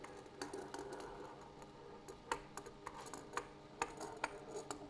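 A wooden table surface is tapped repeatedly at an uneven pace. The quiet, dry taps are sharp and short, with a clicky midrange tone that dies away almost at once.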